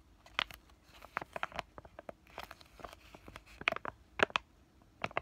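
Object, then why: Laminated plastic-foil sachet. A flat, thin, white printed laminated plastic sachet of pain relief patches is held in both hands and crinkled and tapped with fingertips and short nails. The result is a quiet run of sharp, dry crinkles and clicky taps, bright and papery, each dying away almost instantly with very little low end.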